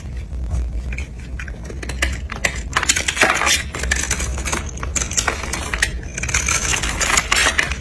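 A utility knife blade shaves and scrapes the carved surface of a solid pink bar of dry soap held in the palm, and pink soap flakes fall off. Dense, crisp scraping and crackling run throughout in quick bright bursts over a steady low rumble.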